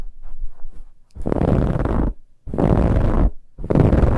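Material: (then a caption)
Fabric. Nails scratch at the sides of a soft, brown, finely ribbed fabric pillow. After a faint, light scratching, three long, loud bursts of dense, rasping scratching follow with short pauses between them, and the sound stays deep and muffled.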